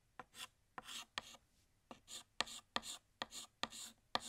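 Fingertips hold a blue chalk stick against a large, flat, solid black chalkboard, filling in a second drawn glass with scratchy strokes. A series of sharp chalk taps each lead into a short, bright, hissing scrape, repeating unevenly with quiet gaps between.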